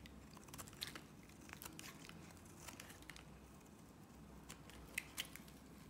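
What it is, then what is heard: Bar soap being sliced. A box-cutter blade slices shavings off the edge of a solid pink Nivea soap bar. Quiet, bright crackling and crisp scraping come in a steady run of short strokes, with a few sharper snaps near the end. The curls of soap break away with a dry, crinkly crunch.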